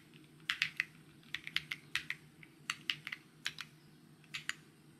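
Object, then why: Mechanical keyboard with plastic keycaps. Fingertips tap the plastic keycaps of a white mechanical keyboard, producing 17 short, bright clicks in uneven bursts of typing. Each click is sharp and dies away almost instantly over a faint, steady low hum.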